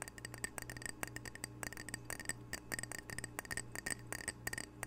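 A small, solid, square glazed ceramic "Camano Island" coaster is held close to the microphone and tapped with fingernails. Rapid, uneven clicky taps sound bright and dry with a clear tone near 1.6 kHz and almost no ring. They play over a steady low hum.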